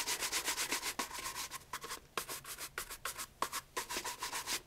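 A brown leather loafer fitted with a wooden shoe tree, its hollow body held in one hand, is brushed briskly across the upper with a wooden-backed bristle shoe brush. About nineteen quick, uneven strokes give bright, scratchy swishes with a faint tone near 1 kHz, each one cutting off quickly.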